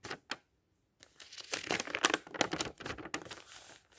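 Fingertips of a ringed hand turn and brush the thin printed paper pages of a thick open dictionary. Two short, crisp rustles are followed by a brief silence, then a longer run of papery crinkling sweeps with sharp, bright flicks that gradually soften toward the end.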